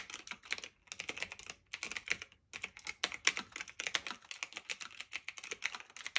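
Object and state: Typewriter-style mechanical keyboard being typed on.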